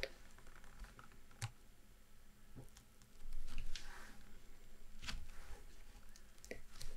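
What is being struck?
Spiral-bound map book with glossy card cover.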